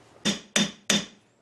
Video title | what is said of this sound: DIY Kistka | you can hear by the ring it's work hardened again now